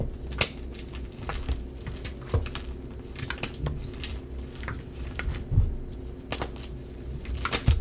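Bare hands pick up solid white gym chalk chunks (magnesium carbonate) with blue painted pieces from a heap of chalk powder in a dark bowl, squeezing them and crumbling them between the fingers. Irregular dry crunches and crackles with bright, brittle snaps ring briefly over soft low rustling and occasional dull thumps.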